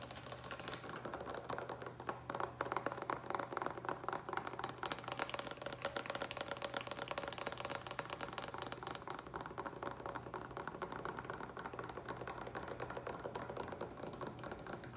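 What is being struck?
Plastic water pitcher with lid, partly filled with water.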